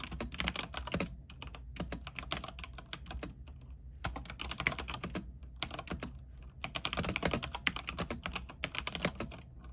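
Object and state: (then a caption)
Mechanical keyboard with plastic keycaps. Fingertips type on a mechanical keyboard with white plastic keycaps, set on a silver frame with backlight. Quick bursts of bright, clicky keystrokes come in runs separated by short pauses. A steady low hum sits underneath throughout.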